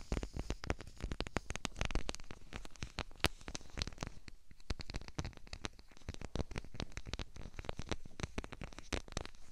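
A clear plastic bubble wrap sheet with large, hollow, air-filled bubbles is wrapped around a 3Dio binaural microphone and pressed and scratched by the fingertips and long painted nails of both hands. A dense, continuous run of quick, dry crinkles, taps and scratches fills the clip. The sound is low-weighted and close, with very short decays and no pauses.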